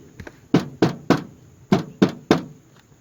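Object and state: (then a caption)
Hollow, clean soffit free of debris. A house soffit is tapped during an inspection, giving two faint taps followed by six loud, hollow knocks in two groups of three. The hollow sound indicates the soffit is clean and free of debris.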